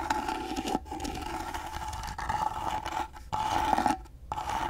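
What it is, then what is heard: Carved wooden box. Fingernails scrape along the carved side of a small, rectangular, gold-painted carved wooden box that is hollow and held in one hand. A dry, raspy scratching carries a steady tonal hum around 820 Hz, broken by brief near-silent gaps before the scraping resumes.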